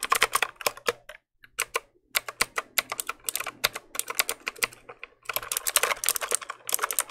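Fingertips press and click the keys of a compact black plastic mechanical keyboard held up close in front of the mic. A rapid stream of sharp, bright, dry clicks with almost no ring comes in uneven bursts, with a short pause near the start and another before a denser flurry at the end.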